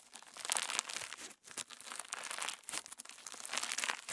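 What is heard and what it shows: A palm-sized clear slime packed with plastic star sequins is pinched, folded and pressed between thumbs and fingertips. It gives a dense, bright crinkling with small pops throughout, almost no low end, and a brief lull near the middle before the crackle builds again.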